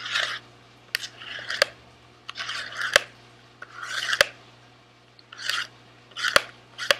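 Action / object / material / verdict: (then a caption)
tap / small cardboard candy box / cardboard / none. A small, sealed SweetTarts cardboard candy box is held in the left hand and sharply tapped with the fingertips of the right hand. Crisp, dry clicks fall at an uneven pace between short, bright, rustling scratching bursts. Each tap dies away almost instantly with no ring.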